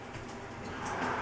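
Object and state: Nothing is struck.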